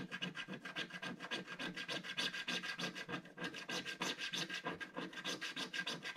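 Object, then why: Black-coated scratch-art card scratched with a wooden stick. A wooden stick scratches the coating of a flat, solid, black-coated scratch-art card page with rapid, short strokes. The result is a steady, bright, raspy scratching in quick, fairly even bursts, with almost no low-end weight.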